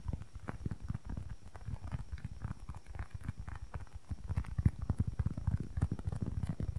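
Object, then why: Polyurethane foam squishy toy. A small, solid, soft polyurethane foam squishy block toy is tapped and scratched with long nails close to the mic. The result is a rapid, continuous patter of dull, low thuds with very short decay, mixed with faint soft scratching, growing a little louder and denser toward the end.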